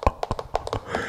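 Long fake nails tap on a wooden brush, a PFW Wood brush, giving quick, dry clicking taps with no ringing, in an ASMR tapping sequence.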